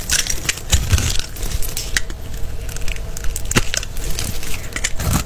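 A small green-handled blade scores and scrapes a solid, palm-sized rectangular bar of blue-and-white striped soap held in the hand, and the cut soap cubes crumble off onto a pile of soap shavings. The result is a dense, irregular run of crunchy scraping, crackling and crumbling, heavy in the low end with brief bright crackles.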